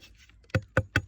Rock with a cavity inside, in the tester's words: tiyak may laman pa yan dahil ng iba ang tunog niyan eh